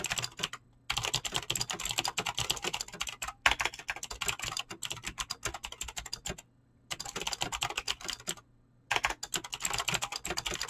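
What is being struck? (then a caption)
Mechanical keyboard with clicky switches and PBT plastic keycaps. Fingertips fast-type on a mechanical keyboard with clicky green switches and PBT plastic keycaps. Rapid, bright clicking keystrokes come in dense bursts, broken by several short pauses.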